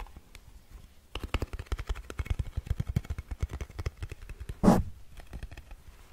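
After about a second of near-quiet, long nails rapidly tap the lid and sides of a small round blue metal Nivea cream tin held in the hands. The result is a fast run of dull, low, clip-clop-like clicks. Near the end, one louder, brighter swell briefly rises above the taps before they settle back.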